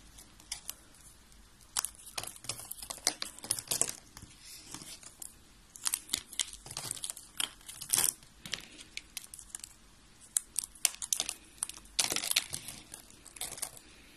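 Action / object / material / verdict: scrape / dry soap strips / soap / none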